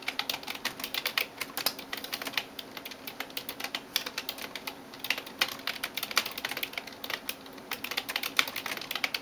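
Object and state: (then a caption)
Plastic computer keyboard. A right hand taps rapidly with fingertips and nails on the plastic keys of a backlit Razer TRON keyboard resting on a desk. The result is a steady stream of short, bright clicks that die away almost instantly, over a faint low hum.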